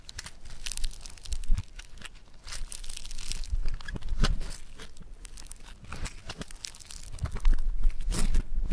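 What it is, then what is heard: Foam-bead clay. Fingers squeeze and tear yellow foam-bead clay, then press it onto a table, producing irregular bursts of bright crackling, crunching and crinkling pops. Soft low thuds sit underneath, and the loudness swells and fades as the clay is worked.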